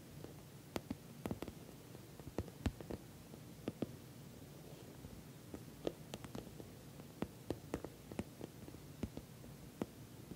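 Long nails tap the top surface of a glossy orange, soft-sided, filled patent vinyl cosmetic bag. About twenty short, crisp clicks come at an irregular pace, each dying away almost instantly. They sit over a quiet, steady low hiss.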